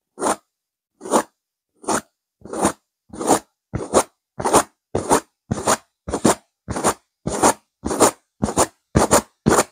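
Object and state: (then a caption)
Velvet cushion being scratched. Long nails scratch aggressively at a stuffed pillow with a purple velvet cover and a silver geometric pattern. Each short, rough scraping stroke is separated by brief silence, repeating at a steady, quickening pace. The strokes carry a bright, crackly fabric texture over a mid-range body.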